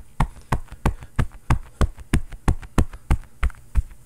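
A bare fist rapidly pounds and knocks a long, padded, quilted cotton oven mitt with a floral print, worn on the other hand, which is soft and hollow. The hits land as deep, muffled thumps in a steady rhythm of about three per second, with smaller knocks between them. Each thump dies away almost at once, with no ring.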